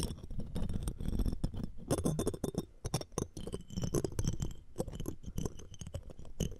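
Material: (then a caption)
Metal mesh. A looped metal ear-pick tool scratches the metal mesh grille of the right microphone, with metal tweezers held alongside and a jeweled earring frame nearby. The result is a dense run of close, crackling scrapes and taps with a heavy low thump, dry short decays, and faint bright clinks above.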